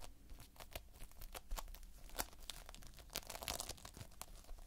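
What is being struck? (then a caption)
Foam beads in a sticky binder. Fingertips pinch and press into a flat spread of multicolored Playfoam, foam beads held in a sticky binder. The result is a quiet run of quick, bright crackles and sticky tearing pops, like fine crinkling, over a faint low hum.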